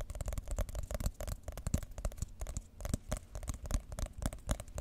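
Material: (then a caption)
Cardboard. Long nails tap and scratch the top surface of a white glossy cardboard iPhone box. Quick, dense taps land in an uneven run with a dull, hollow low thump. Dry scratchy crackles sit over the top, and each tap dies away almost at once.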